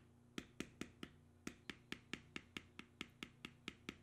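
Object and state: Leather being tooled with a beveler.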